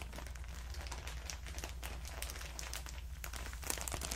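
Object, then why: Plastic bag of cotton pads. A clear plastic bag full of cotton rounds is crinkled and squeezed with the fingers, held close to the listener's ear. Dense, bright crinkling and rustling continues throughout over a steady low hum, growing slightly louder toward the end.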